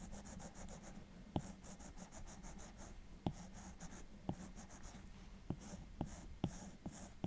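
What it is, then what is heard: Glass tablet screen tapped and stroked with a stylus. The plastic tip of an Apple Pencil, held in the right hand, strokes and taps the solid glass screen of a large 12.9-inch iPad Pro lying flat, while the left hand rests on the case edge. Steady drawing strokes make soft, bright, rhythmic scratching swishes over a low steady hum. Short, sharp clicking taps cut through at irregular moments.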